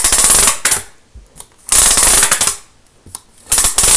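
A thin green plastic Lego baseplate is held up and scratched across its studs with a pen-like tool. The sound is fast, aggressive, bright rattling scratches in bursts of about half a second and nearly one second, separated by short quiet gaps.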